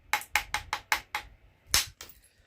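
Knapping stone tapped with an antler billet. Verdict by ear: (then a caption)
Cracked. A deer antler billet taps a knapping rock eight times, each a short, bright, dry click centered around 840 Hz that dies away almost at once, with a pause before the last two. The rock sounds already cracked and stressed, as bought knapping stone sometimes is.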